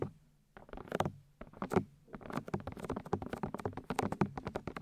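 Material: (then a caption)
Silicone. Long nails and fingertips tap and rub the white silicone ear shells of a 3Dio binaural microphone. After a brief quiet start, there is a quick, irregular patter of short, dry taps and soft thumps with brighter clicky edges. The taps grow denser and steadier toward the end.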